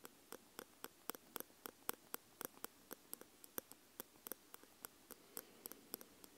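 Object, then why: Metal microphone capsules tapped with metal tweezers. Metal tweezer tips held in both hands tap the two round metal microphone capsules, with red rings, on a Tascam X-Y recorder. About 27 light, quick metallic ticks come at an uneven pace, each dying away almost instantly with a bright sparkle on top.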